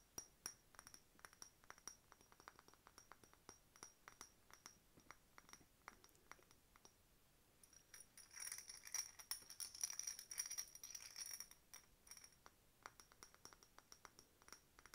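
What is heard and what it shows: Long pink nails tap a hollow cut-glass decorative bottle with a glass bird stopper and a ribbon, while a bead chain on it may also clink. Quick, light, irregular taps give bright, short glassy clinks with a faint high ring. Between about 8 and 11 seconds the tapping becomes a denser, louder flurry of rattling clinks, then returns to sparse taps.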